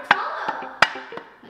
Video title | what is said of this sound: FOUND Secret Mystery Abandoned Cassette Time Capsule Inside Our Spooky Basement?! | It's hollow. - It does sound hollow. - It's like some kind of a hollow container.